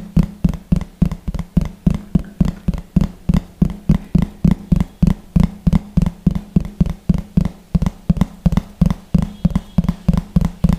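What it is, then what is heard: Plastic plate tapped. Fingertips and nails tap rapidly on the surface of a large, thin, hollow yellow plastic plate held beside the microphone. About 38 short, dull, hollow thumps arrive at roughly three per second in a loosely even rhythm, each low-pitched around 168 Hz and dying away almost instantly.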